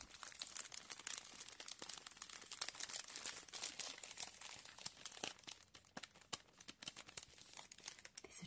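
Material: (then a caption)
Plastic. A medium, thin, glossy Jiffy plastic refill bag full of compressed peat pellets is held in both hands and squeezed and crinkled with the fingertips. The plastic gives a dense, bright crackling for the first five seconds, then thins out into sparser, sharper crackles toward the end.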